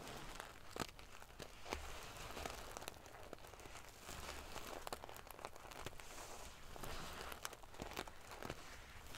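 Long painted fingernails scratch and ruffle the rows of small silver metal sequins sewn onto the fabric of a large decorative pillow. The result is a steady, dense crinkling rustle with bright, scratchy clicks and brief louder sharp ticks scattered throughout, over a soft low rumble.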